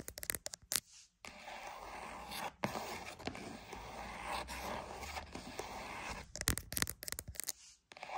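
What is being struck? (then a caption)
Cardboard box. A cardboard box is tapped and scratched. Quick, dry taps open and close the clip, and between them comes a long, rough scratching with a bright, papery hiss. Brief silent gaps separate the sections.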